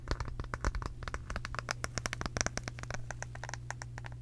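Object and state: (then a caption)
Wooden brush back tapped with fingernails. Long pink acrylic nails scratch and tap the back of a round, light-colored solid wooden brush head, making about thirty quick, dry clicks and ticks over a steady low hum.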